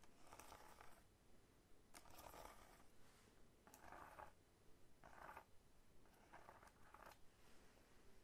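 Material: Fruit rind.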